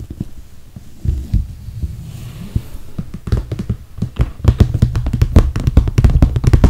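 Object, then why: Clear PVC plastic toiletry bag filled with cosmetics. Long red nails tap on the top and handles of a clear PVC plastic toiletry bag full of cosmetics. The taps are soft, dull and low at first, with brief sharp clicks. From about halfway they become quicker and louder, in irregular bursts.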